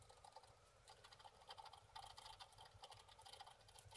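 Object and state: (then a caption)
Wax-coated scratch art card. A thin wooden stick scratches away the black layer of a wax-coated scratch art card, a flat black-coated sheet about A4 in size lying on a table, while the other hand holds the sheet down. The scratching is a quiet, rapid run of short, dry, bright scraping strokes with a faint papery rasp around 900 Hz and little low end.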